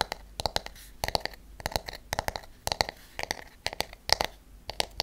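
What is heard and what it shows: Fingernails tap on a wooden paddle hairbrush with wooden bristle pins, which is turned over partway so both its back and its pins are tapped. About 25 quick, dry clicks come in uneven clusters; each is bright with a hollow wooden tone near 850 Hz and dies almost instantly.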